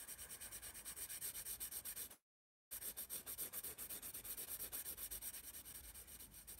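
A graphite pencil rubs quick shading strokes across the page of a spiral paper sketchbook marked "ASI." The result is a rapid, steady run of bright, hissy scratching strokes, about four per second. The strokes break off for a half-second silence just past two seconds, then resume.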